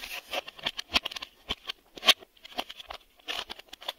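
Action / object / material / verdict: tap / hard-plastic video cassette shell / plastic / none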